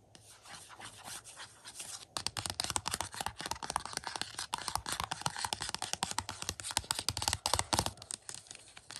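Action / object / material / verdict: scrape / cardboard slipcover over a plastic disc case / cardboard / none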